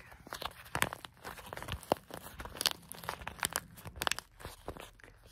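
Fingers squeeze and crinkle a hand-sized clear plastic stand-up zip pouch full of granular bath salts. A rapid, uneven series of sharp, bright crackles and crunches sounds over a soft, steady hiss, with little low end and each snap dying away almost instantly.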